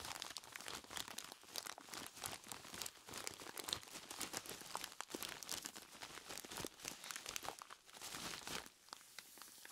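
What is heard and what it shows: A large clear plastic bag full of ice cubes is squeezed and rubbed by hands in skeleton-claw gloves. Dense, bright crinkling of the plastic mixes with crunching ice in quick, short bursts, with almost no low end.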